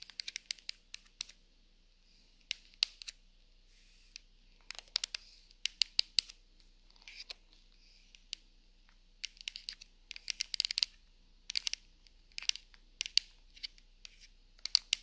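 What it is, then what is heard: Plastic TV remote control. Long acrylic nails tap and scratch across the rubber buttons and casing of a white handheld plastic TV remote lying on a beige sofa. Quiet, sharp, bright clicks and scratchy crackles come in scattered bursts and quick clusters with tiny pauses between them. There is almost no low end and nothing rings after each tap.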